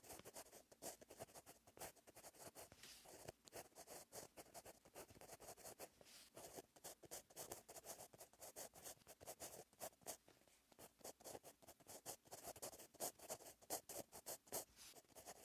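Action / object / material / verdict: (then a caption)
scrape / metal-tipped pen on a lined paper page / paper / none. A metal-tipped gel pen held in the fingers writes continuously on the same lined paper notebook page lying flat on a surface. Quiet, dry scratching strokes come in rapid, uneven bursts with a bright, papery hiss and very little low end. Each stroke stops almost at once.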